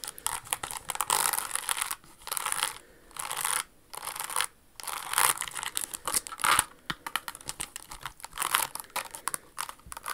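Long acrylic nails scratch and tap a pink rhinestone-covered Jimmy Choo crystal stiletto pump, working over both the rhinestones and the leather sole as the shoe is turned. Bursts of dry, bright scratching alternate with short silences, then give way to quick, crisp clicking taps with almost no ring. The sound stays thin and high with no low end.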